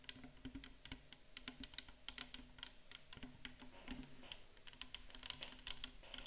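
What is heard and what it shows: A clear 500 ml plastic micellar water bottle, full of liquid and standing on a table, is tapped with long acrylic nails in a rapid, steady run of about 30 quick taps. Each tap is a short, dry click with a bright upper edge and a soft low thump from the liquid, dying away almost instantly.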